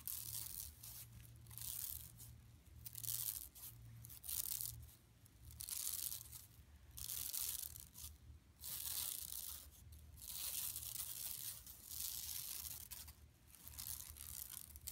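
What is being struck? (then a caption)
Woven plastic mesh shopping bag. Long nails of both hands scratch across the printed mesh of a flat, empty yellow woven plastic mesh tote bag lying on carpet. Bright, dry rasping and crinkling come in uneven swelling strokes over a steady low hum.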